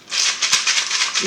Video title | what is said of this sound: EARLY INTERACTION-TREASURE BASKETS | i put some rice inside so this is a rattle as well but it's a softer sound